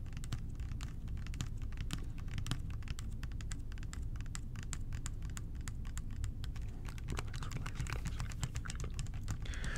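A clear plastic bottle with a blue cap, partly filled with blue liquid, is held in both hands and tapped quickly with the fingertips and short nails. The result is a dense, continuous stream of sharp, bright clicks over a steady low hum, with a brief scratchy swish near the end.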